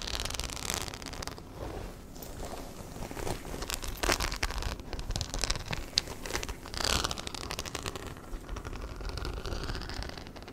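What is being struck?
Small fabric handbag with metal-set rhinestone studs.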